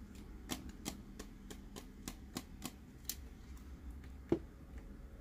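Fingernails tap on the dome lid and body of a clear plastic glitter light-up Dory tumbler. A slow, even series of short, light clicks with bright tops and little ring sits over a low, steady background hum. One firmer tap near the end stands out louder than the rest.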